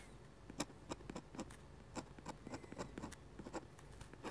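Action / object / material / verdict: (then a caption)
scrape / paper sheet under a metal-nib pen / paper / none. A metal-nib dip pen makes rapid hatch strokes on a flat sheet of white drawing paper. A quick, irregular run of short, dry scratches sounds against a faint, steady background hiss, each stroke a brief bright rasp that stops almost at once.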